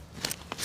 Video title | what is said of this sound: ANG LAKI NG NAHUKAY SA TARLAC | Pag ganun ang tunog, meron yan. Iba yung tunog eh.